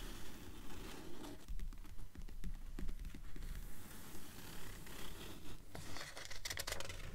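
Long nails scratch and tap across the paper pages of an open blue paperback book. The result is a quiet, steady run of soft, dry taps mixed with papery scratching and light rustles.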